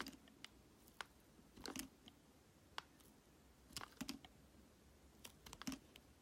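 A solid translucent red glycerin soap bar held in the hand is shaved with a metal utility blade into thin sheets, with a pile of red shavings behind it. Quiet, crisp crunching scrapes and sharp ticking clicks sound in irregular bursts, bright and dry with almost no ring.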